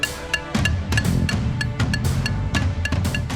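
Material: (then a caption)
Concrete. A rope access technician strikes the concrete pier of the Forest Hill Bridge with a crowbar, listening for hollow sounds that would indicate internal decay. A rapid series of sharp metallic clinks with bright ringing overtones sounds over a low, steady rumble. The pier sounds solid.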